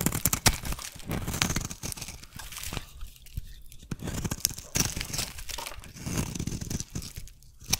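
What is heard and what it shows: A metal blade shaves curls from the bumpy, patterned underside of a solid white soap bar, which has been turned over for the scrape-and-cut strokes. The result is a continuous run of dry, crackly scraping and tearing, like crumpling, with soft low thuds beneath bright, crisp edges. The strokes swell and fade in short bursts as the curls peel away.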